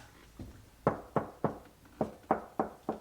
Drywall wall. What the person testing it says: sounds like nothing's behind it that's because it's not if it echoes it isn't a stud behind it